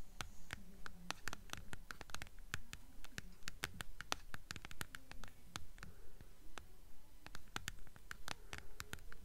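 Long nails tap and scratch along the spine of a blue hardcover book held upright, its paper dust jacket giving sharp, dry clicks. The quick taps fall in a fairly steady rhythm, with soft papery scratching between them and a low background rumble underneath.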